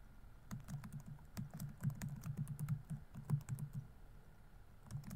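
Fingertips rapidly tap the plastic keys of a laptop keyboard on a grey laptop body while typing. The result is quiet, soft, dull clicks with a low thumpy body, coming in quick bursts with short pauses between them.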